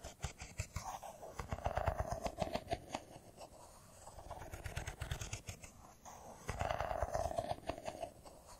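Fingernails tap quickly along the edges of a solid, hand-sized silver smartphone in a metal-and-glass body, held in both hands. The result is a quiet, rapid stream of short, dry clicks with soft low thumps underneath. A faint midrange tone rises during the busier stretches near the start and end.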